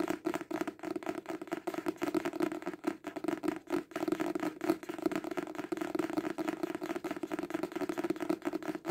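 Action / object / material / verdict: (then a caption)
tap / hardcover book / cardboard / none. A solid hardcover book with a dark cover, held upright, is tapped fast on the cover with fingertips and short nails. The result is a dense, continuous stream of short, dry taps with a mid-range tone around 330 Hz and no lingering ring.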